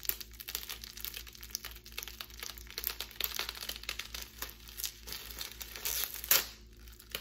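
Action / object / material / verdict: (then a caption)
scrape / plastic bubble wrap / plastic / none. A twisted strip of clear plastic bubble wrap, held between both hands, is pulled and crinkled with long nails. It gives a dense, continuous run of bright, crackly crinkles and small pops, with a louder crunching burst near the end, over a faint steady low hum.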